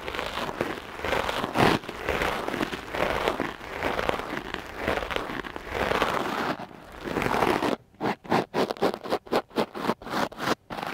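A hard-bristle wooden clothes brush is dragged repeatedly across a soft dark-blue foam windscreen covering a microphone. It makes a dense, continuous scratchy rustle for most of the clip. Near the end this breaks into quick separate strokes with short silences between them.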